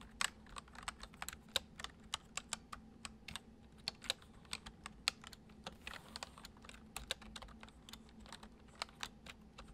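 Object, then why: Plastic computer keyboard. Fingertips of both hands type steadily on a full-size white plastic MSI keyboard resting on a wooden desk, its hollow keycaps clacking down over the switches. About 36 quick, dry, bright clicks stop almost instantly, at an even pace over a faint low steady hum.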